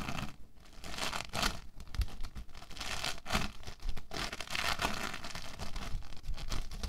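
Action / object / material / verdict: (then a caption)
scrape / lump of foam bead clay / foam beads / none. A solid lump of orange foam bead clay is pressed, rubbed and kneaded with fingertips and palms. It makes a continuous stream of dense, crinkly crackling and crunching with a soft tearing quality, brighter bursts rising and falling over a low rumble.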